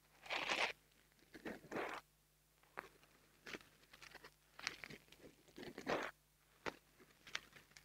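A long fingernail scratches and rubs a small black foam microphone windscreen held between the fingers. The result is short, bright, crackly bursts of scratching and rustling separated by brief quiet gaps.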